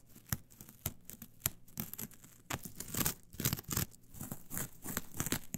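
Long nails pluck and scratch the loose fibers of a flat, brown, coarse coir fiber mat. The result is a run of dry, bright rasps and crackly tearing sounds with a low rustle under them, each stroke stopping short with no ring. The scratches start as sparse, separate sharp strokes and become a denser, louder scraping in the second half.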